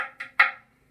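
A tuning fork's resonance box is tapped on its own, without the fork, to show that it has its own natural frequency. Two short, hollow knocks are heard, the second louder, each with a brief tonal ring near 1.9 kHz that fades within about a quarter second.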